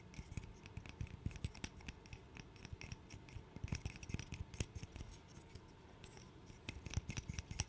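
A small, handheld interlocking burr puzzle made of solid light-wood blocks is scratched and tapped with fingernails. The result is a quiet, steady stream of short, dry clicks and taps with a scratchy, bright edge over a soft low thump. The taps cluster more densely around 3.5 to 4.5 seconds and again near the end.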